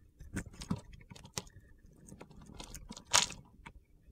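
A box-cutter blade scrapes and slices crunchy chunks off a solid light blue soap bar held in hand. Quiet, dry, bright crackling scrapes and crunches come in short bursts with a few sharper cuts. The loudest crunch lands near the end.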